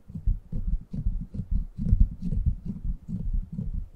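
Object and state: Metal mesh microphone grille.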